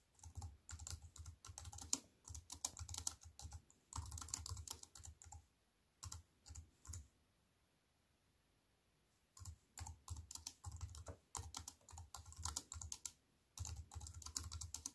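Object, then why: Plastic computer keyboard with metal frame. Fingertips with long white nails type on a compact computer keyboard with black plastic keys set in a silver aluminium frame. Quick, bright clicking keystrokes with a soft low thump come in bursts and short runs, broken by brief pauses and a longer silence midway.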